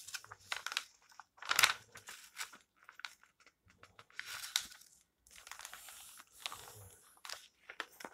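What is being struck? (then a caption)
Glossy paper magazine pages. Long-nailed fingers rub the flat pages of an open glossy paper magazine lying on a table, then flip a page over. Crisp, bright rustling and crinkling comes in short, uneven bursts, with one louder swish as the page turns.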